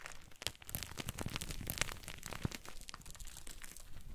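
Chunks of gym chalk (magnesium carbonate) are crushed and squeezed in both fists over a pile of white chalk powder. Dense, crumbly crunching and crinkling fills the clip with many short, dry snaps that stop almost instantly, over a soft, low rumble.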